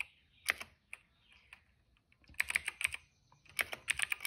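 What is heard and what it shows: Fingertips type on a cream plastic retro mechanical keyboard with plastic keycaps and a hollow case. A few scattered keystrokes are followed by two quick bursts of bright, clicky taps with a sharp tone around 2.3 kHz. Each click stops almost at once, with no low thump beneath.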